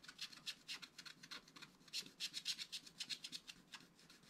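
A wooden stylus scratches quick short strokes into a flat black-coated scratch art card, etching a rabbit. The result is a quiet, rapid, somewhat uneven run of dry, bright, raspy scratches that each stop almost instantly, with almost no low end.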